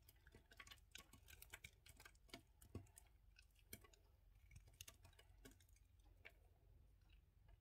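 A small piece of a solid red-and-white soap bar, held in the fingers, is carved and scraped repeatedly with a yellow utility knife blade. The result is a quiet, steady patter of short, crisp clicks and scraping ticks with bright edges over a faint low background hum. Each tick dies away almost instantly.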